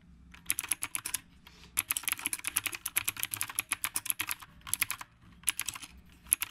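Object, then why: Mechanical keyboard with round plastic keycaps. A retro typewriter-style mechanical keyboard with round plastic keycaps is typed on with the fingertips of both hands. Rapid, bright, clicky keystrokes come in bursts, separated by brief pauses. Each sharp click dies away almost instantly.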